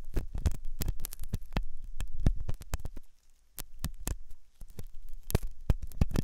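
A metal dental pick scrapes inside the hollow ear canal of a white, soft silicone ear on a binaural microphone. Close, deep, thumping scratches repeat at an uneven pace, each brief burst streaking up bright over a low rumble. There is a short quiet gap just past the three-second mark.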